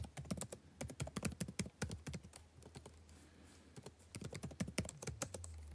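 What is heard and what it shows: Fingertips type steadily on a backlit laptop keyboard with plastic chiclet keys, giving quick, dry taps with a soft low thump and a bright click. The typing slows to a quieter stretch midway, with a faint low hum underneath, then picks back up in brisk bursts.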